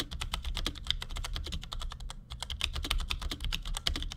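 Fingertips of both hands type quick taps on the keys of a compact black plastic Cherry G84-4100 keyboard with ML switches resting on a desk. A rapid, steady stream of short, bright clacks comes through over a low background hum, with a brief pause partway through. Each keystroke stops dead with no ring.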